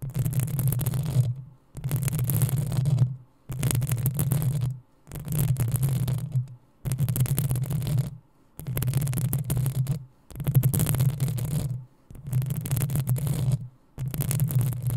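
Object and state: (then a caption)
Metal microphone grille scratched. Long acrylic nails on both hands scratch the metal mesh grille of a black desktop USB condenser microphone. Nine separate bursts of rapid scratching, each about a second and a half long and split by short silences, come through as a heavy low rumble under a bright, fizzy hiss.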